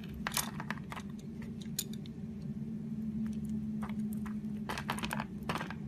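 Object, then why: Bar of soap shaved with a knife blade. A utility knife blade shaves the surface of a solid purple Palmolive soap bar held in the hand, cutting it into curls. Short, bright, crisp scraping strokes repeat over a steady low hum.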